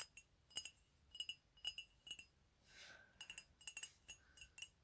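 Fingernails tap a medium, hollow, empty white ceramic mug with "COFFEE" lettering held in both hands, producing quiet, bright clicks in quick clusters. Each tap gives a brief glassy ring around 2.9 kHz that dies away almost at once. Midway, a soft breathy hiss swells briefly between the taps.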